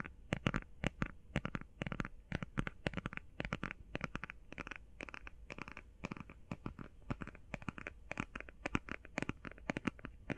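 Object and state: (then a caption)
Cardboard eyeshadow palette. Long painted nails tap and scratch quickly over a small, flat, closed eyeshadow palette made of cream-printed cardboard. The result is a dense, steady stream of crisp, dry clicks and scratchy strokes that die away almost instantly, reaching bright highs over a low, soft rumble.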